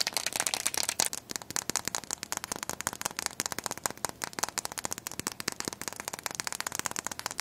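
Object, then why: Chicken eggshell. Long nails and fingertips tap and scratch a single small, whole brown chicken egg with a hollow shell, held up in both hands. A rapid, steady stream of dry, bright clicks mixes with scratchy rustling, with almost no low end. Each tap stops instantly with no ring.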